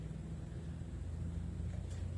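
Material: Nothing is struck.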